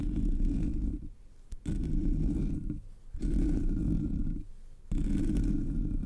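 Long nails scratch the sides of the hollow black metal mesh grille of a Blue Yeti microphone. Four low, rumbling scratch bursts are separated by brief quieter gaps. The sound stays heavy in the bass with almost no bright content.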